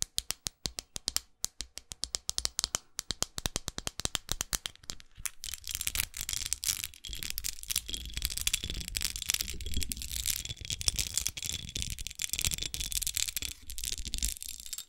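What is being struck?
Small studded glass perfume bottle.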